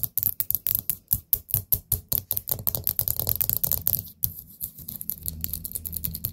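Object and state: Ceramic candle pot lid tapped with nails.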